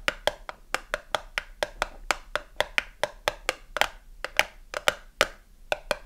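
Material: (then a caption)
Cardboard. Long acrylic nails tap fast on the narrow side panel of a small cardboard soap box, held on its side with a bar of soap inside. The taps come as a quick run of about two dozen dry, hollow clicks. Each click is short and woody, around 550 Hz, with a bright edge and almost no ring.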